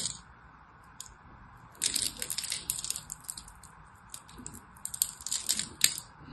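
A solid orange-and-white striped soap bar is cut into small cubes with the tip of a knife, crumbs falling away. Dense bursts of bright, crisp crackling and scraping start after a faint tick near one second, with sharp, quickly fading clicks scattered through the rest of the clip.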